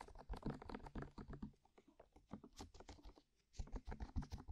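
Long manicured nails rapidly tap and scratch on white, soft, hollow silicone ear-shaped covers fixed on a binaural microphone. A quick run of soft, dull clicks and scratches with a low thumping body, fading briefly quieter near the middle before picking up again.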